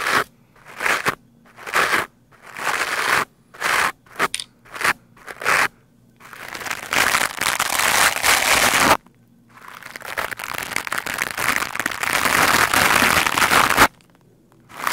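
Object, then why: Foam microphone windscreen brushed with a stiff plastic brush. A black foam microphone windscreen is brushed quickly with the stiff white bristles of a lime-green plastic scrub brush. A series of short, crunchy, crackling scratch bursts gives way to two long stretches of continuous, bright, hissing scrubbing, with brief silences in between.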